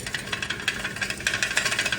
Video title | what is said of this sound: NEW MUFFLER on the snow blower | Listen when I shake it. All that stuff in there.